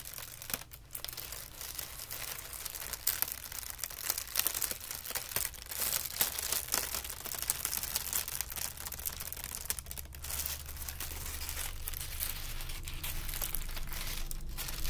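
A thin sheet of white crumpled tissue paper is held in the fingertips and twisted, pulled and gathered, producing a steady stream of soft, dense crinkling and crackling. The sharp, bright crackles come in quick irregular bursts over a quiet low hum throughout.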